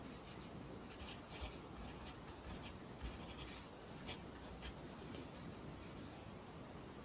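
A pencil writes in an open lined paper notebook, its graphite scratching across the paper. Quiet, irregular strokes give short bright scratchy bursts over a low, steady background hum.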